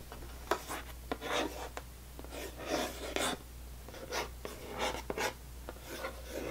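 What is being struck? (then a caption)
Cardboard box of crackers. Long painted nails and fingertips tap and scratch the top of a closed, full rectangular cardboard box of saltine crackers lying on a table. Crisp, short taps alternate with dry, bright scratching bursts over a faint steady low hum.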